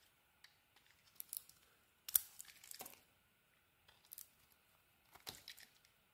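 A metal blade shaves chunks off a solid pink bar of soap, making dry, crisp scraping and crunching bursts that come in several short clusters separated by near silence. The sound is bright and thin, with almost no low end, and each scrape stops almost instantly with no ring.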